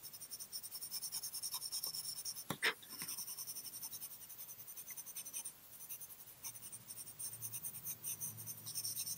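A graphite pencil held in the fingers rubs and scratches across a small, flat cream paper card bearing a coloured-pencil drawing, which lies on a white table, while shading. Soft, rapid, bright scratchy strokes repeat steadily throughout, broken once near the middle by a single sharper, louder tick.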